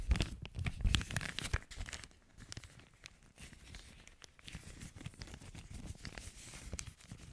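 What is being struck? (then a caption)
Thin plastic zip-lock bag. An empty clear plastic zipper storage bag with a red zip strip is held in both hands close to the mic and crinkled and rubbed between fingers with long nails. Loud, dense crinkling and tearing-like crackles fill the first two seconds, with a strong low-end thump from handling. The sound then settles into quieter, steady rustling and fine bright crackles.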